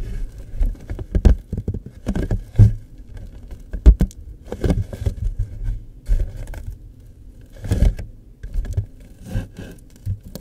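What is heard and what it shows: Fingertips and nails rapidly tap and scratch across the surface of a hollow, floral-printed cardboard tissue box with a green top showing its dispensing opening. The result is a quick, uneven patter of dull, low, hollow taps with brief scraping bursts, each tap dying away almost at once.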